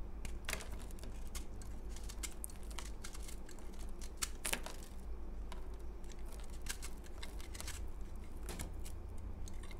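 A utility knife blade scrapes powder off a solid, porous, crumbly pale green dried bar of soap held in the hand. Quick, dry, bright scratching strokes crackle in a steady stream over a constant low hum, with no pauses.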